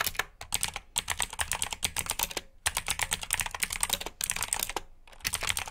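Fingertips type continuously on a black RGB mechanical keyboard with plastic keycaps. Rapid, bright, crisp clicks come in quick bursts, with a few brief pauses between runs. Each key strike is short and dry, with little low-end thump.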